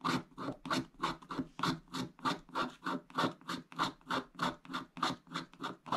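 A wooden stick scratches away the remaining black coating along the top of a flat, wax-coated scratch-art page, revealing the blue foil underneath. Around two dozen quick, rhythmic back-and-forth strokes produce dry, raspy scratches, each a short burst centered near 1.2 kHz with brighter high hiss. The strokes repeat fairly steadily with no ringing between them.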